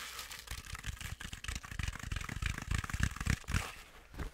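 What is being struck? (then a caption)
Stuffed fabric penguin toy. Long acrylic nails scratch aggressively and quickly across a medium stuffed penguin toy made of fuzzy, sparkly plush fabric. The result is a rapid, irregular stream of crinkly, rasping scrapes with a bright hiss on top and soft, low thumps underneath, each stroke dying away almost instantly.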